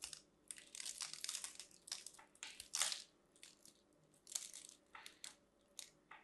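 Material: Soap.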